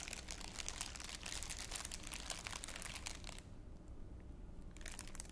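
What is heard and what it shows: An empty, thin, clear crinkly plastic wrapper is held in both hands in front of the mouth and scrunched with the fingers. It makes dense, bright crackling and crinkling for about three and a half seconds, pauses briefly, then resumes near the end over a steady low background rumble.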